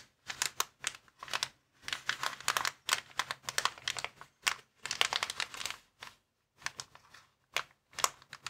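Fingertips with short nails tap and scratch across a flat, clear plastic inflatable air-column cushion bag, about hand-sized, lying on a wooden table. Bursts of bright, crackling crinkles come in quick clusters separated by brief silences, each snap dying away almost instantly with little low end.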